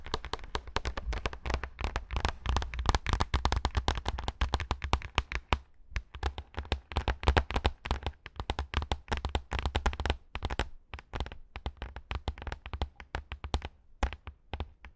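Long acrylic nails scratch fast across a pink faux fur pad, making a dense stream of quick, dry scratching taps with a heavy low thump underneath. The strokes come in rapid bursts with brief pauses near the middle and end.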